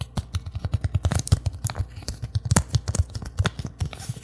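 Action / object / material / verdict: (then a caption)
scrape / thin plastic bag / plastic / none. A thin, empty, translucent plastic bag is held and crinkled with the fingertips close to the microphone. It gives a rapid run of short, dry crackles and crisp pops with soft low thumps underneath and bright rustling on top. The crinkling continues unevenly for about four seconds.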